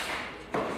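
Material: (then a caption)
Wood. An old wooden timber from a temple hall under restoration, its outer surface damaged, is knocked once, giving a short, clear knock of moderate pitch that rings briefly over a faint background hiss. It is judged sound rather than rotten, since a dull sound from inside would mean rot through to the core, so the timber keeps its durability and is reused rather than replaced.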